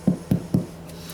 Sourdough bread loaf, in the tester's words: They say you can tap the bottom to tell if it's cooked, because it sounds hollow.